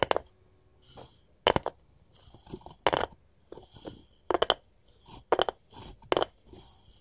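A wooden cutting board is tapped with gold finger rings, giving about eleven short, sharp clicks and clacks with a bright metallic edge. Softer scrapes sound between the taps, with quiet gaps in between.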